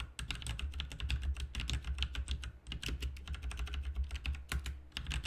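Both hands type with their fingertips on a backlit RGB mechanical keyboard with plastic keycaps, producing a fast, steady run of crisp, bright clicks. Each keystroke is short with almost no ring, and a continuous low hum sits underneath the typing throughout.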